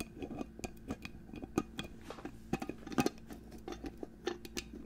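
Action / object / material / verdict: tap / glass perfume bottle / glass / none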